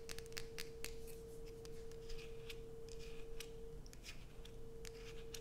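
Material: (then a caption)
Soap. A solid blue Coast bar soap held in the hand is scratched with long acrylic nail tips, shaving off curls of soap. The scratches come as a series of crisp, bright, scraping bursts over a steady low rumble and a faint constant tone near 470 Hz.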